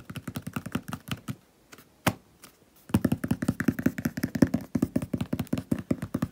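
Several fingertips with painted nails tap quickly on the top of a medium hollow cardboard shipping box with a paper label. The result is a fast run of soft, dull, low taps with almost no ring. They pause briefly with a few scattered taps, then resume in a dense, uneven flurry.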